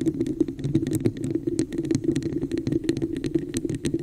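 Long nails tap and scratch quickly over the surface of a hollow red plastic cup with an embossed pattern, held over the mic. A dense run of short, dry, hollow knocks sounds with a low boxy body and brief bright clicky edges, and scratchy texture fills the gaps between them.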